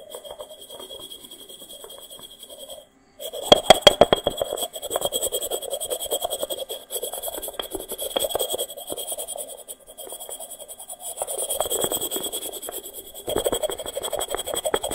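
A small, hollow, unglazed, dry terracotta pot made of stacked rounded sections is held in the hand and lightly tapped with the fingertips. The result is a steady run of quick, dry, hollow taps with a mid-pitched clay tone and almost no ring. A brief pause comes near the three-second mark, and a faint steady high-pitched tone and hiss sit underneath throughout.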